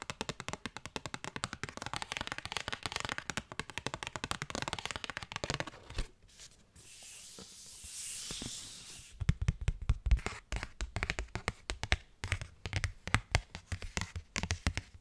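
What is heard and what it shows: A thin cardstock paper postcard is tapped and rubbed with fingers and nails. Rapid, dense crisp tapping and scratching gives way to a few seconds of smooth, hissy rubbing. Then come sharper, fuller taps with a soft low thump.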